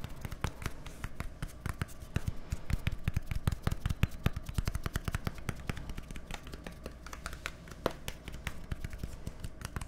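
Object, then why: Plastic deodorant stick. A small, hollow white plastic deodorant stick with a green cap, held between microphones, is tapped quickly with fingertips and nails. The result is a rapid, steady stream of short, dry clicks and taps with a hollow low thud beneath and bright clicky edges. No ring lingers after each tap.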